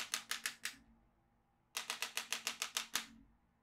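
A yellow magnetic pen is drawn along the lower edge of a black plastic magnetic drawing tablet, clicking its steel beads. Thirteen sharp, bright clicks come in two runs: four, a short pause, then nine. Each click decays quickly.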